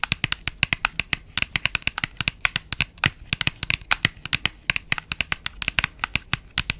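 A small cream printed paperboard box is held close to the mic while long nails tap and scratch it. About 45 quick, sharp, dry taps come in a steady, rapid stream, bright and crisp with almost no ring and little low end.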